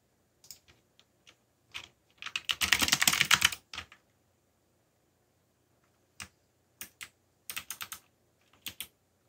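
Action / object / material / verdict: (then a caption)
tap / plastic mechanical keyboard / plastic / none. Fingertips type on the plastic keys of a backlit black plastic mechanical keyboard, giving sharp, bright clicks with almost no low end. Scattered taps lead into a dense burst of rapid typing near the middle, then a pause before more separate clicks return.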